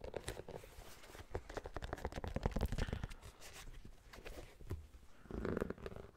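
An empty knit mesh running shoe with a rubber sole and a plastic air heel is handled and scratched with fingertips and nails on the heel and sole. The result is a dense run of dry, low, rumbling scratches and soft rubbing taps. A brief, smoother rubbing swell comes near the end.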